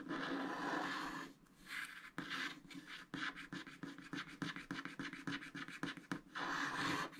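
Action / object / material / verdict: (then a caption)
scrape / wax-coated scratch art card scraped with a wooden stylus / wax coating / none. A wooden stylus scrapes the wax coating off a black scratch art card, etching a giraffe and then small shapes while the other hand holds the sheet. Long, dry scratching and rubbing opens and closes the clip, with a quick, uneven run of short, crisp strokes in between. The sound is close and bright with little low end.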